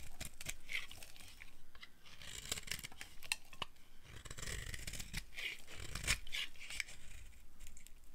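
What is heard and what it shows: A flat blade scrapes and carves a solid orange bar of dry soap held in the hand, shaving off curls. Repeated dry, crunchy rasps and tearing scrapes come in quick bursts, bright in tone with a peak around 2.5 kHz and almost no ring after each stroke.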